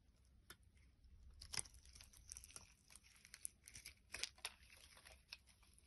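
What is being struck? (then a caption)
Bar of soap scraped with a knife. A short black-bladed knife scrapes and shaves a solid, hand-sized orange bar of soap, leaving flakes on a wooden board. Quiet, crisp, bright scraping and crackling comes in irregular bursts, with a few sharper cuts standing out against a low background hum.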